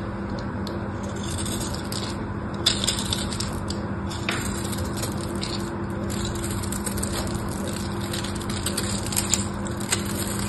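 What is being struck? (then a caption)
Bar of soap cut with a small metal blade. A small metal knife blade scrapes and cuts small cubes off the grid-scored surface of a solid, palm-sized pink bar of soap held in the hand. A steady, crumbly scratching with bright crackling runs throughout, with a few sharper cuts standing out over a constant low hum.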